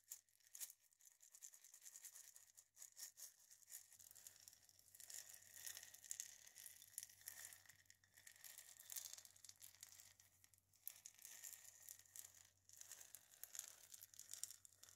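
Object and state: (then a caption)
Dried gourd maraca. A single hollow dried-gourd maraca is held in both hands while long painted nails scratch and tap across its etched body. The result is a quiet, steady stream of bright, dry scratching and fine rasping with quick, sharp tapping clicks that die away almost instantly. A faint low hum sits underneath.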